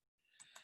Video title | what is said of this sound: May 31, 2020 Full Service (Private) | if I shake it a little bit, you can hear that there's some things in there